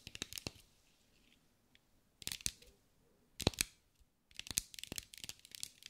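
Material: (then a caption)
Glass. Long acrylic nails tap and scratch a green mirror-glass mosaic sphere held in the hands. Bright, crisp clicks come in quick bursts, with a short quiet pause between clusters and faint scratchy rustling underneath.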